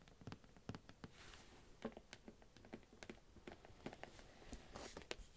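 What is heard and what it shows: Long nails tap and scratch the top and sides of a shrink-wrapped cardboard advent calendar box held up close. Quiet, dry, irregular clicks mix with soft crinkly scratching from the plastic wrap, and each tap dies away almost at once.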